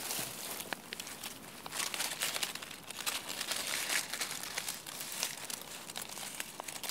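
Dry, papery chestnut leaves on a branch are squeezed and crinkled by both hands with the fingertips. A continuous, bright crackling and rustling is heard, dense with quick, sharp snaps and almost no low end. Each crackle dies away almost instantly.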